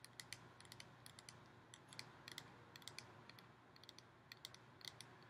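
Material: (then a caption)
Thin metal. Fast fingernail tapping and scratching on the surface of a hollow, ribbed gold metal decorative pumpkin. Quiet, dense bright clicks with very short ring ride over a soft low hum.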